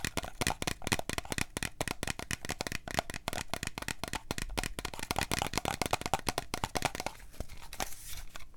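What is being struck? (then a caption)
Small glass drink bottle with plastic shrink label. Long nails rapidly scratch and tap the plastic shrink label of a small Starbucks glass coffee drink bottle that appears full and is held on its side. The result is a dense stream of sharp, dry clicks and crinkly scratching with almost no ring, easing into softer, sparser scratches near the end.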